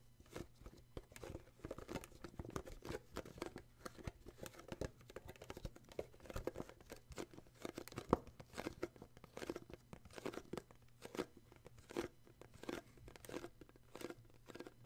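Short fingertips grip and tap the illustrated side of a small, hollow, printed cardboard gift box held in both hands. The result is a quiet, steady stream of rapid, dry taps with brief crinkly, crunchy scratches, each one dying away almost instantly. A faint low hum sits underneath throughout.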